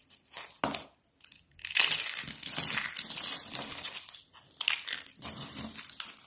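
Thin stacks of dry orange-yellow soap sheets are squeezed and crumbled over soap flakes by hands with pink nails. Bright, crisp crinkling and crunching come in dense bursts with short pauses between them. The sound is almost entirely high and papery, with very little low end.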